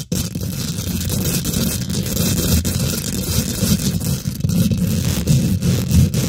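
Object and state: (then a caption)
Metal mesh microphone grille. Long nails and fingertips from both hands rapidly scratch and tap the domed, hollow woven metal mesh grille of a large silver condenser microphone. The result is a steady, dense scraping rumble heavy in the low end, with quick bright clicks and crackles running through it for the whole clip.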